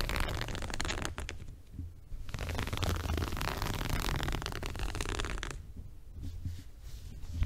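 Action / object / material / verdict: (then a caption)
scrape / woven fabric rug / woven textile / none. Fingertips and nails scratch the coarse surface of a small multicolored woven fabric rug held upright, near its top edge. The result is a dense, uneven rasping texture with a strong low rumble underneath and bursts of brighter scratching that rise and fade across the clip.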